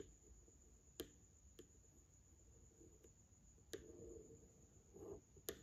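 A yellow wooden pencil is traced and tapped along the facial features of a framed Madonna and child drawing behind glass. Three sharp, bright taps click against the glass between quieter ticks and soft scraping strokes. A faint, steady high-pitched tone runs underneath.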